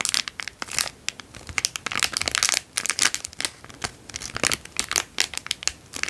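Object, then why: Thin cellophane plastic bag. A small, empty, heavily creased clear cellophane-like plastic bag is held in both hands and crinkled with the fingertips. It gives off dense, bright crackles in rapid, irregular bursts with almost no low end. Each crackle cuts off sharply, with only brief quiet gaps between them.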